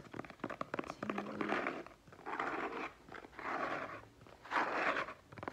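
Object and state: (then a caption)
Cardboard box. A small closed brown cardboard product box with a printed logo and shipping label is held in both hands while fingertips and short nails tap and scratch its flat faces. Quick crisp taps in the first second give way to four longer bursts of dry, papery scratching, each trailing off into a brief pause.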